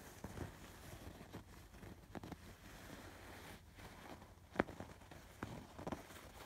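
Fingertips and nails scratch over the raised colored embroidery on a soft stuffed fabric pillow. Quiet, dry scratchy rustling runs throughout, broken by a few short, sharper scrapes that die away almost instantly.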